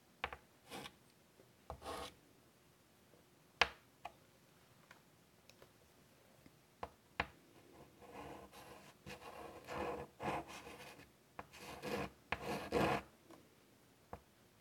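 White chalk held in the fingers rubs and scratches curvy lines on a large wooden-framed chalkboard lying flat. Quiet, dry scrapes and short sharp taps come first, followed by longer, denser gritty rubbing strokes in the second half, with bright raspy texture over a low-level background.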